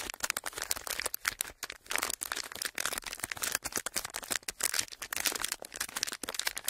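A clear ridged plastic packaging sheet is squeezed and crinkled with fingertips, giving a dense stream of sharp, bright crackles and snaps with almost no low end. Each crinkle dies away almost instantly, so the sound is a continuous, uneven rustle of quick pops.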